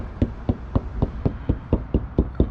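Ten quick, dull taps on a spot of a motorhome's rear wall panel, each a short, low, muffled knock that dies away almost at once. The spot sounds hollow, so it is unsuitable for mounting.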